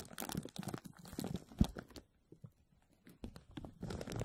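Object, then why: Thin plastic film stretched over a metal mesh strainer. A clear, thin plastic bag stretched over an empty, hollow, dome-shaped wire mesh strainer is gripped and pressed by both hands with fingertips and short nails. The film crinkles and scratches against the mesh in quick, dense bursts, with a sharp pop near the middle. After a brief quiet stretch, the crackling builds again.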